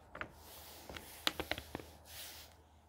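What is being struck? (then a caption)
Paper pages of a hardcover book. A hand strokes the paper page of a thick hardcover book with a soft, bright swish, then the pages flip over in a quick run of sharp, crisp paper snaps and crackles. The hand then smooths the page again with another airy brushing hiss, and the sound ends quietly.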